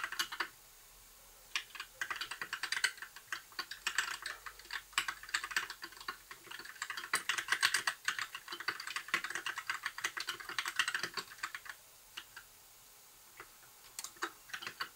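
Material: Plastic.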